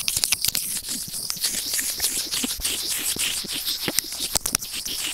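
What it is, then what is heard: Plastic earphone remote microphone scraped with tweezers. White plastic tweezers with serrated tips rub over a white plastic earphone inline remote and microphone resting on felt. The result is a continuous bright, hissy scratching with sharp clicks and rustles layered throughout, and almost nothing in the low range.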